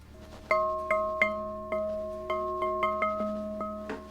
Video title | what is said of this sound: ALL THE GUNS - Holts December 2023 | it rings like a doorbell. You hear that ring? That means that the laying is actually consistent.